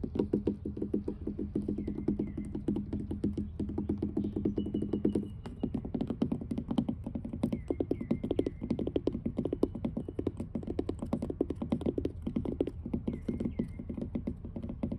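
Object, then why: Wooden dock planks. Fingertips with long blue acrylic nails tap rapidly with both hands on weathered grey wooden dock planks that sound solid. The taps are short, dry and dense, with a woody low-mid thud and almost no ring. A steady low hum runs under the first five seconds before dropping away, and faint chirps sit higher up throughout.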